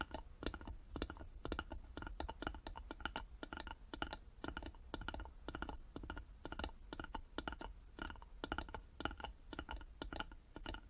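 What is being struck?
Small carved wooden box.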